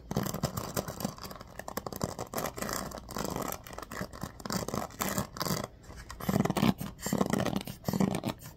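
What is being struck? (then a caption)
Bamboo paddle hairbrush with pin bristles. Fingers and nails scratch and flick the pin bristles of a bamboo paddle hairbrush with a black cushion. The result is a dense run of quick, dry scratches and ticking flicks with a soft low-mid body. The scratching swells into louder bursts toward the end.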